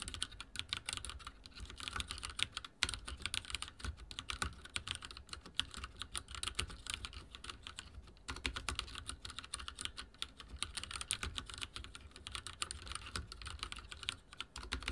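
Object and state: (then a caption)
Mechanical keyboard with plastic keycaps. Fingertips type very fast on a backlit mechanical keyboard with dark plastic keycaps and a silver frame. The result is a steady stream of crisp, bright key clacks over a soft low thump, with one brief lull just past the middle.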